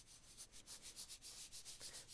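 An hourglass-style sand timer that runs about 12 or 13 minutes is shaken back and forth close up. It gives a soft, hissy, sandy rubbing rattle, mostly high-pitched, that swells and fades in quick repeated pulses.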